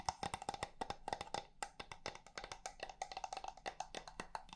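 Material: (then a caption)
Wood. A small hollow wooden box with penguin pictures on its sides is held in the hands while its lid and sides are tapped rapidly with long red nails. The result is a quick, uneven stream of short, dry, hollow clicks with a woody knock around 890 Hz and a bright edge, each dying away almost at once.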